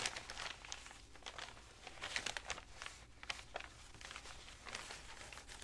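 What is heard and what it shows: Fingertips with dark-painted nails leaf through and ruffle a loose stack of aged, tea-stained, crinkled paper sheets, thin and dry, rubbing and rustling them while a carved book cover sits untouched beside the stack. Quick, bright crackling bursts of crinkling and dry rustling rise and fall, with sharp flicks and short crunches that die away almost instantly. The result is a continuous, uneven papery crinkle at a quiet level.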